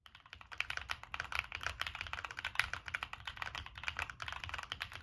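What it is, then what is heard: Mechanical keyboard with plastic keycaps. Fingertips of both hands type steadily on a Monsgeek M1 mechanical keyboard with NK Cream switches, a dark metal case, a POM plate and purple and black plastic Cherry-profile keycaps. The keystrokes are a rapid, uneven stream of short, crisp clacks centred near 2 kHz with bright upper edges, each dying away almost instantly with very little low-end thump.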